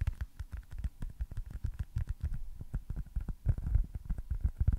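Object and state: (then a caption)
Foam stress ball. A small, solid white foam baseball stress ball with red stitching is held close to the microphone and tapped and scratched with fingertips and nails. A quick, irregular stream of soft, muffled low thumps is heard, each dying away almost at once, with faint bright scratchy clicks over them.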